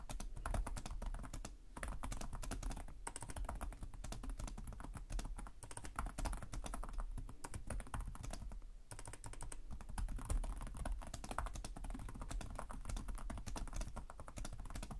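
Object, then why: Plastic laptop keyboard. Both hands type rapidly with their fingertips on the plastic chiclet keys of a black laptop with a hollow chassis. The result is a dense, continuous stream of quick clicks and taps with a strong low, hollow thump underneath. Short pauses occur near 1.7, 3 and 8.8 seconds.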